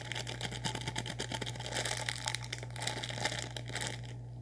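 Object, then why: Plastic snack wrapper. An orange-and-white, hand-sized crinkly plastic snack package filled with snack contents is held in both hands and squeezed and rubbed with the fingertips. This produces dense, continuous bright crinkling over a steady low hum, fading slightly at the end.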